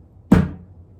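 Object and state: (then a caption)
Dull thud from a plastic adhesive tub. A tub of pressure-sensitive adhesive is struck once with the palm to get a thud for a beat. It gives a single dull, low thud centered around 180 Hz, with a brief bright attack and a short decay.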